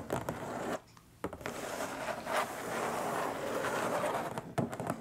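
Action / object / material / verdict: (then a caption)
scrape / printed cardboard box / cardboard / none. Long nails scratch and drag across the lid of a long, flat, hollow printed cardboard box. The result is a dry, papery rasp that runs almost without a break, with one short pause near the one-second mark and a few sharper scrapes at the start and near the end.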